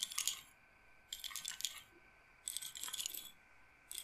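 Fingernails scratch and roll the beads on a wooden bead roller massager, a wooden frame with beaded rods. The result is four bursts of bright, rapid wooden clacking and rattling, separated by short quiet gaps, with the last burst cut off at the end.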